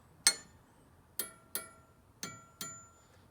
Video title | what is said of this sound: Mounting a rubber tire on a carriage wheel | you can really hear that the Tings are a lot more similar